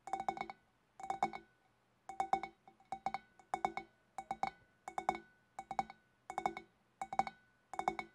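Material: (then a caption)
Glass. Long black nails tap with both hands on the shoulders of a large, hollow, empty clear glass fish bowl. Quick clusters of light, bright glassy clinks repeat in about eleven short bursts. Each tap carries a clear tone near 780 Hz and dies away almost at once.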